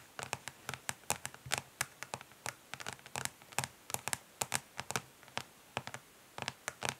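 Long pink nails on both hands tap fast and lightly scratch the ridged underside of a flat, rectangular, hollow plastic eyeshadow palette lying face down on a grey surface. About thirty quick, dry, bright clicks come in irregular bursts, each dying away almost instantly, with faint scratchy rustles between them.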